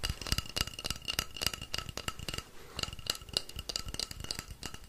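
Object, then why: Painted wooden rainstick. A long, hollow, painted wooden rainstick is held in one hand, tilted and shaken while fingers tap along its side. It produces quick, irregular dry clicks and taps, each with a short bright ring around 2.8 kHz over a soft low thump, easing into a brief quieter stretch midway before the tapping picks up again.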